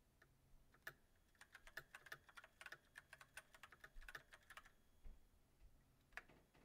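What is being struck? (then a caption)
Mechanical keyboard with plastic keycaps. Fingertips of both hands type on a backlit mechanical keyboard with white plastic keycaps on a silver metal frame. The result is a quiet, uneven run of short, sharp clacks with a bright, plasticky tick and almost no ring. The keystrokes come in quick clusters separated by brief pauses.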